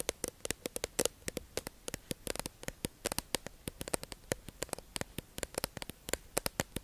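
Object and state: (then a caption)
Clear plastic package tapped with nails. Long acrylic nails tap and scratch a hollow, clear plastic tube-shaped package holding makeup sponges, held in the hands. A quick, uneven run of crisp, bright clicks follows, each with a faint hollow tone around 535 Hz. The clicks die away almost instantly over a soft, steady hiss.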